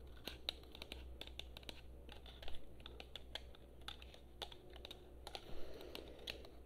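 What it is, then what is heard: Plastic game controller. A blue, hand-sized, hollow plastic PlayStation-style gamepad is held in both hands and tapped rapidly with long painted nails on its shell and buttons. The taps are quick, dry, bright clicks that stop instantly, falling in an uneven, typing-like patter over a steady low hum.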